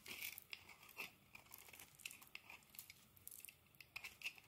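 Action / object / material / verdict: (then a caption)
scrape / bar of soap cut with a metal blade / soap / none. A solid green bar of soap is scraped and carved with a metal blade, shaving off crumbly pieces. The sound is a quiet series of sharp, bright scratches and crisp crunches, with energy concentrated high around 2.6 kHz and almost nothing in the low end.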